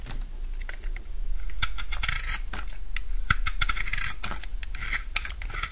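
A utility knife cuts chunks off a solid bar of dry blue soap. Crunchy, scratchy cutting sounds come in quick, irregular bursts with bright, crisp edges, over a steady low hum.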